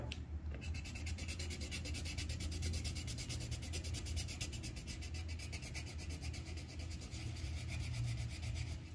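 The tip of a yellow wooden colored pencil scratches and rubs across a thin white paper sheet on a clipboard while coloring in flower petals. Fast, steady back-and-forth strokes make a continuous bright, raspy scratching that runs the whole time over a constant low hum.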